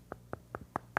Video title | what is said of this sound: PK-385: The Science of Sink and Float | It sounds hollow.